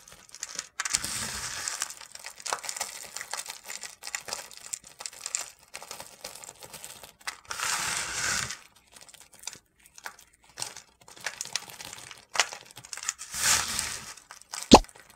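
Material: Soap.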